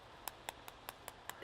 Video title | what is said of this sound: Brussel Sprout Love: Jacques Pépin: More Fast Food My Way - KQED | HOW CRUSTY THE TOP IS, COOKING IT THE WAY I DID